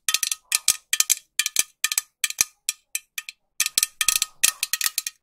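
A green metal aerosol spray can, held horizontally near the mic, is tapped with long nails in about two dozen quick, dry, bright clicks. The taps come in uneven bursts, some fast and some slower, each ending almost at once with only a short metallic tick.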